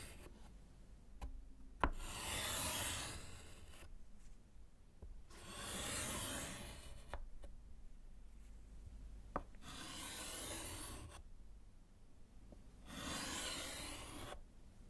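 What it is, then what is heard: Chalk scratching on a wood-framed slate board. A gloved hand scratches lines with orange chalk on a small solid slate board in a wooden frame. Four bursts of dry, scratchy rasping sweep across broad and bright tones, each lasting about two seconds. Between them there are quieter pauses with faint taps.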